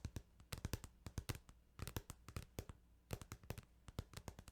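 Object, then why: Plastic video game case. Fingertips tap on a plastic Final Fantasy 8 video game case in quick, uneven bursts, with short pauses between clusters. Each tap is a dry, very short click with a low hollow thud underneath and a bright crisp edge, dying away almost instantly.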